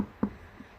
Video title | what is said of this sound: Unboxing Hermes bigger box Part 3 | this is a solid box and I think there is some really Hardy cobot that's there pretty much feels and sounds like wood